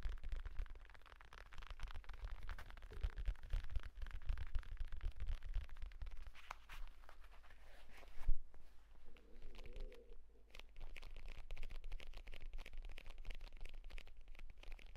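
Fingertips rapidly tap and scratch the pebbled cover of a purple leather folio tablet case, first while it is held and then after it is laid flat. The quiet, steady stream of soft, dull taps sits mostly in a low thump with scratchy crackle layered over it. A single sharper knock stands out just past the eight-second mark.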